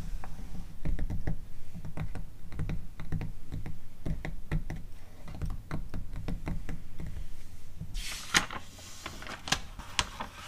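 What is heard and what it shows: Long acrylic nails tap and scratch across the open spread of a glossy paper magazine catalog resting on a rug, making a quick, irregular run of dull, low thuds with soft scratchy edges. Near the end, a page is turned, giving a brief bright, papery rustle before a few last taps.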